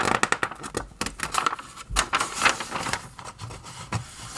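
Fingertips lift and turn the thin pages of an open glossy paper magazine, flipping forwards and backwards and rubbing the paper. Quick, bright, crisp rustles and flicks come in a rapid series of short bursts, with soft papery scraping in between.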